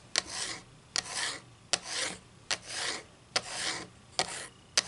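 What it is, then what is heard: Wooden ruler tapped and scratched with nails. Long green acrylic nails tap and scratch quickly across the printed face of a solid flat wooden ruler held slanted above a table. Seven sharp, bright clicks are each followed by a short, airy rasping scrape, repeating at a loose, uneven pace.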